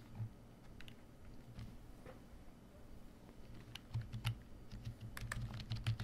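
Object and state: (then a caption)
Plastic membrane computer keyboard. Fingertips of both hands type on a full-size black plastic membrane computer keyboard, a Koshi KB1388. The keystrokes are soft, short, low-pitched thuds, quiet and irregular at first, then becoming denser and louder in the second half with a few brighter clicks.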